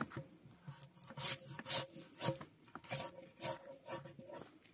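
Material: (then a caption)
Spruce wood. Gloved hands pull a draw knife along a solid spruce softwood log, scraping off the last strips of bark. About eight short, rasping strokes come at an uneven pace, each a bright, hissy scrape with a faint low woody rub underneath. Each stroke dies away almost at once.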